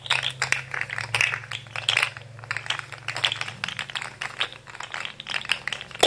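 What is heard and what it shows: A rainbow articulated plastic fidget slug toy is held in both hands while fingertips flex its segments, making them click against each other. Rapid, bright, dry plastic clicks and rattles come in uneven bursts over a faint, steady low hum.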